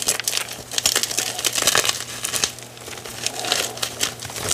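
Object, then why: Magnesium carbonate gym chalk block. A dry white gym chalk block of magnesium carbonate, in pieces with a pile of powder, is squeezed and crumbled in both hands, then fingertips are pressed into the powder. Dense, bright, crisp crunching and crinkling crackles follow one another continuously with almost no low end, each snap dying away almost at once.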